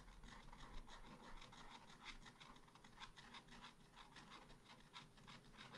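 A wooden stylus scratches over a flower area on a small black-coated scratch art paper card. It makes a steady run of dry, raspy rubbing and scratching strokes, each a short bright scrape over a faint low hum.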